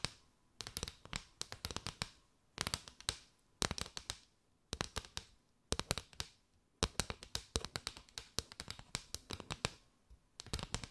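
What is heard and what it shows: Long nails tap and scratch quickly along a mat of hollow, chevron-patterned paper straws curved over the mic. Sharp, bright, dry clicks come in rapid bursts separated by brief pauses, each tap dying away almost instantly.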